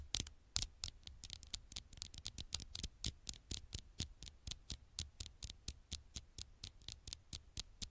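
Fingertips make tiny taps on the glass screen of an old smartphone. Quick, irregular taps come as short, dry, bright clicks with a faint low thud beneath each one. There is no ringing between the quiet taps.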